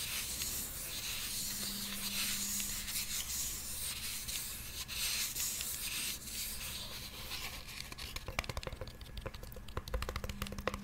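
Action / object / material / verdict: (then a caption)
scrape / small glittery plastic toy purse / plastic / none. Long nails scratch and rub the textured side of a small, hollow, blue glitter plastic toy purse. A steady, bright, hissy scraping fills the first seven seconds, then gives way to sharper, crisp clicks and taps toward the end, over a faint low hum.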